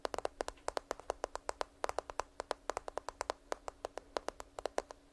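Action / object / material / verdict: tap / smartphone in a plastic case / plastic / none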